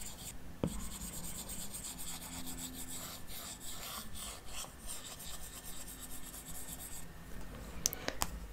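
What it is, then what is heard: Stylus scratching a glass tablet screen. An Apple Pencil's plastic tip makes repeated short shading strokes across the solid glass touchscreen of a large 12.9-inch iPad Pro lying flat. A soft, steady bright rubbing and scratching carries on throughout, with a few sharper taps near the start and end.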